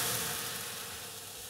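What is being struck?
Nothing is struck.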